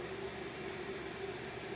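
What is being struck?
Nothing is struck.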